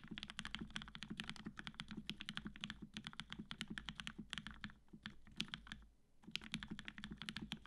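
A black-cased tenkeyless Matrix 8X V2.0 mechanical keyboard with cream PBT keycaps, an aluminum plate, and retooled black switches with 65 g Gateron yellow springs is typed on continuously with the fingertips of both hands. The rapid keystrokes combine a low, rounded thock with bright, short clacks that die away almost instantly, pausing briefly near the six-second mark before resuming. The result sounds solid.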